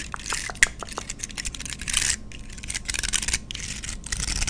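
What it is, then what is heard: Pine cone. A dry brown pine cone, about hand length and solid with open woody scales, is held in one hand close to the mic while long red acrylic nails scratch and flick across the scales. The result is a fast run of bright, dry, crackly scrapes and sharp clicks, with denser rasping bursts in between.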